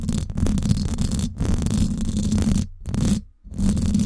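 Long acrylic nails scratch the hollow silver woven-wire dome grille of a Blue Yeti microphone. The result is a dense, rumbling scrape that sits mostly in the low range, with a faint bright hiss. It is broken by a few brief pauses, including a deeper lull near the end before the scratching resumes.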